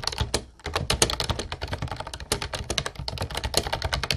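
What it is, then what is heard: Plastic round-key keyboard being typed on. Fast typing with the fingertips of both hands on a light blue plastic Ubotie retro keyboard with round white keycaps and a hollow body. A dense run of bright, clicky key strikes with a hollow low thump beneath them pauses briefly near half a second in, then continues steadily to the end.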